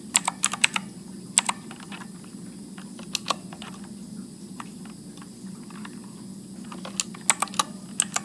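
Fingertips press the keys of a backlit Motospeed mechanical keyboard with blue switches and plastic keycaps in slow typing. Sharp, bright clicks come in bursts at the start and end, with sparser taps in between, over a faint low hum.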